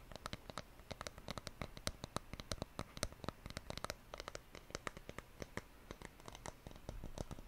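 Fingers tap on a wooden surface in a rapid, uneven patter of short, dry knocks with almost no ring. Each tap has a low thud body and a bright clicky edge.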